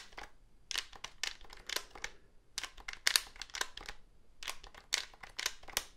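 Fingertips tap the casing of a hollow black plastic cordless phone handset and click its keypad buttons. The result is bursts of quiet, dry, bright clicks and taps with almost no low end and no ring.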